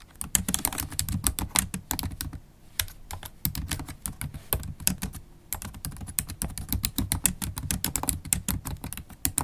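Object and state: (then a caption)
Laptop keyboard with plastic keys. Rapid typing with long acrylic stiletto nails on a MacBook Pro keyboard with black plastic keys in an aluminium body. Dense, bright clicks and taps run in quick bursts over a soft low thud, with short pauses near the third and fifth seconds.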